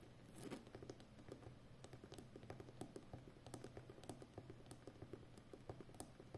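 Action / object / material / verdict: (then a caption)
tap / roll of plastic packing tape on a cardboard core / plastic tape / none. Fingertips and long nails of both hands tap and scratch the outer rim of a full, hollow roll of brown plastic packing tape on a cardboard core. A quiet, rapid patter of short, dry clicks and light scratches sounds over a steady low hum.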